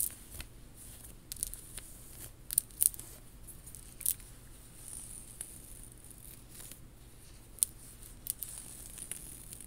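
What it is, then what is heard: Faux pearl and rhinestone bib necklace being scratched. Long nails scratch the beads and rub along the strands of a worn faux pearl bib necklace with rhinestone accents. The result is a soft, steady scratching with scattered sharp, bright clicks and ticks over a low, quiet hum.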